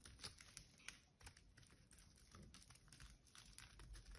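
A small metal blade cuts and scrapes shavings off a solid green bar of soap held in the hand. Quiet, rapid, crisp scratching ticks run together continuously with a dry, bright texture and no ring.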